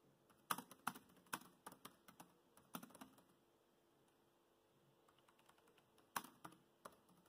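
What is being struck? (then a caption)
Plastic laptop keyboard. Fingertips of both hands tap the black plastic chiclet keys of a grey laptop keyboard in continuous typing. About sixteen short, dry, clicky taps come in uneven bursts, with a quieter stretch of faint ticks in the middle before a few sharper keystrokes return. Each click stops almost instantly, with no ring.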